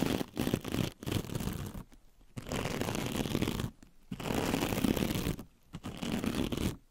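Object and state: Metallic mesh scrub sponge.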